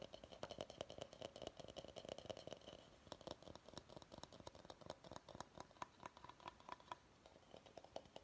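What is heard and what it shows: Fingernails tap and scratch the outside of a medium, hollow, empty bamboo salad bowl held in the hands. A quiet, steady stream of quick, dry clicks carries a short hollow ring around 625 Hz, with faint scratching between the taps.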